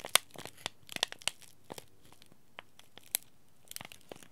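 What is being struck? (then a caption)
Laminated plastic-foil tea bag packet. A small green laminated plastic-foil tea bag packet lying in the palm is scratched and rubbed by fingertips and short nails. Sharp, bright crinkles and scratchy crackles come in irregular bursts, separated by quiet pauses.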